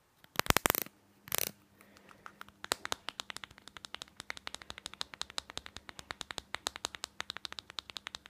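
A plastic item is scratched in two short, dense bursts of bright noise, then tapped rapidly with dozens of crisp, quick clicks that die away almost instantly. The fast tapping runs steadily to the end over a faint low hum.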